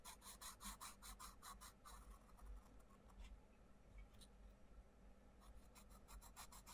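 A wooden coloured pencil rubs and scratches across the page of an open paperback colouring book lying on a wooden table, while the other hand presses the page flat. Quick, bright, rasping strokes come in a steady back-and-forth rhythm, fade to a softer scratching in the middle, then pick up again at the end over a low background hum.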